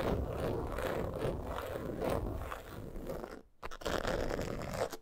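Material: Coated canvas.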